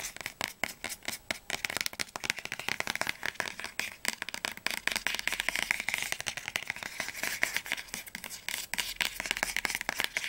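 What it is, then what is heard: Solid hardcover book spine. Fingernails rapidly tap and scratch along the glossy spine of a solid orange hardcover book, "Flammender Zorn," held sideways. The result is a dense stream of crisp, dry clicks and scratchy swipes with a bright, high-heavy tone, very little low end, and almost no ring after each tap.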